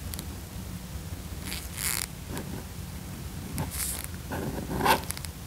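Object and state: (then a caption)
Leather car seat being scraped. A hand in a black nitrile glove scrapes a small pale flat tool across the cracked leather of a worn side bolster on a large, padded black leather car seat during restoration. Bright, rasping scrapes come in several short strokes over a steady low hum.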